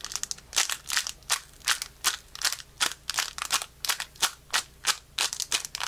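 A small metallic foil Pokémon booster pack with cards inside is held close and crinkled, then torn open at the top by the fingertips of both hands. Sharp, bright crackling bursts come at an uneven pace of roughly three per second, each dying away quickly, with almost no low end.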